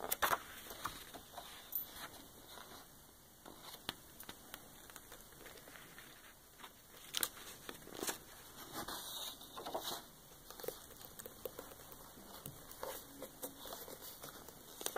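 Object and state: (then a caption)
Glossy paper book page. Long nails tap and brush across the thick glossy printed page of a large open coffee table book, with page handling, a page turn, and rings on the hand possibly touching the page. Quiet, dry, bright taps and papery crinkles come in irregular clusters, each dying away almost instantly.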